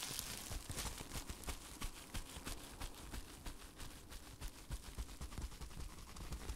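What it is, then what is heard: Plastic bubble wrap. Hands wrapped in clear plastic bubble wrap are held close to the microphone while the fingers inside crumple and squeeze it. This produces a steady run of crinkling and crackling with frequent sharp, bright snaps over a low rumble.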